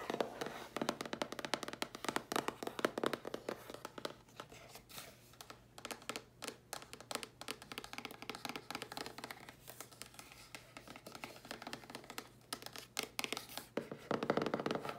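Long nails scratch and tap the lid of a hollow, dark grey cardboard box, then move on to its held side panels. Quick, dry taps with almost no ring mix with papery scratching. The sound thins out in the middle and grows louder and denser near the end.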